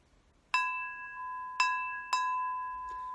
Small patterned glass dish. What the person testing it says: rings like a bell beautiful beautiful crystal